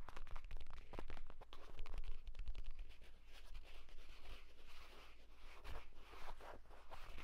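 A purple leather folio tablet case lies flat while fingernails scratch fast and fingertips tap along its cover and spine. The result is a rapid, continuous run of dry, crunchy scratches and soft taps over a steady low hum.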